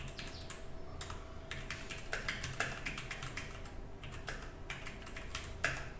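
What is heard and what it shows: Both hands type quickly with their fingertips on a compact 60% mechanical keyboard, which has a black case, mostly white plastic keycaps with a few coloured accent keys, and rests on a desk mat beside some loose keycaps. A fast, steady stream of short, bright plastic clacks sounds over a low background rumble, with a few sharper, louder taps standing out.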